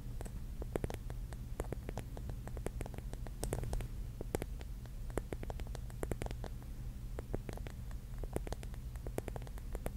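A pink mirror-mosaic mushroom is held in the hands while long nails tap and scratch the glass tiles on its cap. Dense, quick, sharp clicks with bright tips sit over a steady low hum, at a soft overall level.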